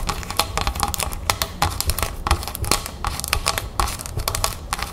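Long red fingernails on both hands tap rapidly on the label and upper plastic of a large, clear plastic club soda bottle full of sparkling water, standing on a table. The result is a fast, irregular stream of sharp, bright clicks with a crinkly edge, each dying away almost instantly over a low background rumble.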